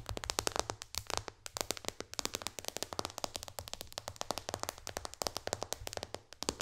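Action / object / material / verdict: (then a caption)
tap / glass tablet touchscreen / glass / none. Long dark-painted fingernails of both hands tap fast on the solid, flat glass screen of a white-bezel iPad tablet lying flat on a lap. The result is a rapid, uneven run of dozens of sharp, bright clicks with no ring, over a steady low hum.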